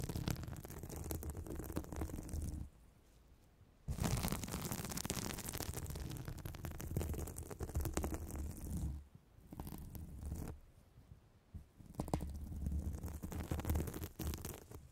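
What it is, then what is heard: Foam sponge being squeezed and rubbed. Long red nails and fingertips squeeze, rub and scratch a soft, porous, palm-sized blue glittery foam sponge held close to the microphone. The result is dense, crackly squishing and scratching with a deep, muffled low end. The sound pauses into near-silence around 3 seconds and again around 9 and 11 seconds before resuming.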